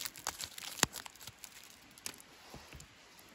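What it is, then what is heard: Wooden walking stick, fingernails scratching. Fingertips and short nails rub and scratch along a long, solid wooden walking stick of mostly smooth, stripped bare wood with some bark remnants at the knots. The result is a quiet run of dry, bright, crinkly scratches and short ticks, with one sharper click standing out near the start before the sounds thin out.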